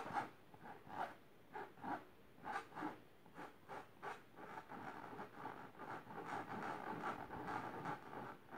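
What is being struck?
Fabric-covered storage box.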